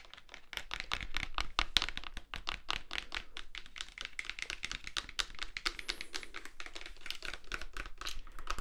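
A black plastic-and-metal film SLR camera with a lens attached, hand-sized with a hollow body, is held in both hands while fingertips tap and click its buttons, dials and body. The result is a rapid, steady run of short, dry, bright clicks and taps with very little ring, plus faint low thumps underneath.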